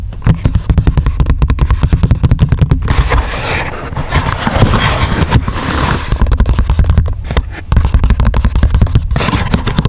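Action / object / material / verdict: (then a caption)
tap / small paperboard box / paperboard / none. Fingertips and nails scratch and tap the surface of a small, closed, printed paperboard hole punch box lying flat, and it is flipped over near the end. Rapid runs of dull, low, thumping taps alternate with a stretch of broader, rougher scratching in the middle, with each tap dying away almost instantly.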